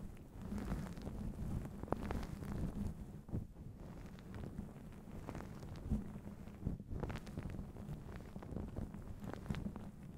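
A fluffy grey-and-black faux fur windscreen over a microphone is held in one hand and rubbed and squeezed with the fingertips of the other, right against the microphone. It makes a continuous, muffled, low rumbling rustle with soft crackly scratches and a faint steady low hum underneath, with almost no high sound.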